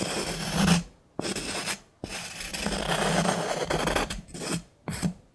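A wooden stick scrapes and taps inside a small, hollow, empty turned wooden bowl or jar with a threaded rim, held in the hand. It makes five dry, rasping strokes separated by brief silences, some starting with a sharp tap. Each stroke carries a hollow, low woody resonance under a bright, grainy scratch.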